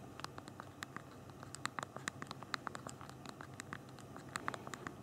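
Thumbs type on the small plastic keys of a handheld BlackBerry phone's physical keyboard, making a quick, irregular run of short, dry clicks with bright ticks over a soft low rustle. The clicks are many and closely spaced, with each one stopping almost instantly.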